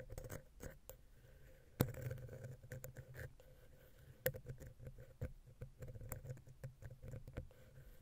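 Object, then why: Metal mesh microphone grille tapped and scratched with a wooden pick. A wooden ear pick, held vertically, taps and scratches between the silver XY capsules of a Zoom H6 recorder, against the small, hollow metal mesh capsule grille. Irregular dry taps and scratches are heard, dominated by low thumpy body. There is a steady faint hum near 500 Hz and two sharper, louder taps partway through.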